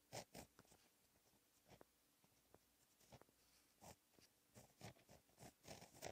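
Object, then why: Gel pen on a paper notebook page. A fine-tip gel pen held in the fingers writes Korean cursive in blue ink on a lined black paper notebook page lying flat on a solid surface. Quiet, continuous scratching of the pen tip on paper comes in short bursts and strokes, with brief bright scrapes between softer, drier passes.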